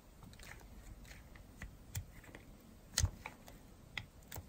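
A metal blade carves pieces off a solid pink-and-white striped dry bar soap held in the hand. Soft, crisp scraping and crunching cuts come through with short bright clicks, and one sharper crunch stands out near the middle.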